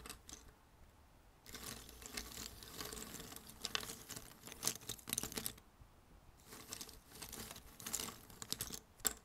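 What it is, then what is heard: Cardboard jigsaw puzzle pieces. Fingers dig and stir through a pile of thin cardboard jigsaw puzzle pieces on a red table. The result is a bright, dry rustling and clicking patter in bursts of a few seconds, with sharp little ticks and brief quiet pauses between them.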